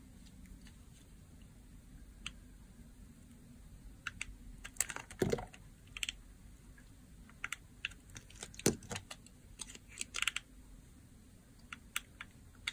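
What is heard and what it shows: A utility blade shaves and cuts the surface of a solid, rectangular blue-and-white striped bar of dry soap held in the hand. Sharp, dry, crunchy scrapes and clicks come in irregular bursts over a low, steady background hiss. Louder, longer scrapes land near the middle and toward the end.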